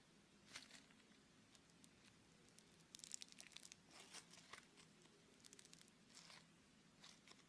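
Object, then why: Lump of beaded foam clay. A palm-sized lump of red beaded foam clay (Floam), solid and soft, is kneaded, pressed and torn by fingertips and thumbs. Soft, bright crackling and crinkling bursts come in irregular clusters over a faint low hum, each crunch dying away instantly. The sound stays quiet throughout.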